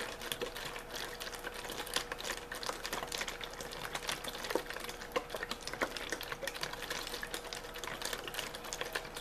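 A hollow, clear plastic drink bottle with a blue label, partly empty, is held in one hand and shaken and crinkled with the fingertips. A steady stream of quick, bright crackles and clicks runs throughout at a fairly even level, with a faint steady tone near 500 Hz underneath.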